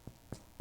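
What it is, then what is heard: Baked-through challah loaf (sounds hollow). Three knocks on a freshly baked challah loaf just out of the oven, checking that it is done. Each knock is a short, dull, low thump centered around 117 Hz that dies away almost at once. The loaf sounds hollow, showing it is baked through, with an internal temperature of about 210 degrees.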